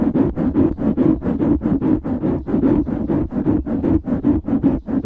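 Fingertips and nails scratch quickly on the sides of a black foam windscreen on a microphone. The result is a steady run of close, muffled, rasping bursts in quick succession, heavy in the low-mid range with almost no bright top end, each stroke dying away quickly.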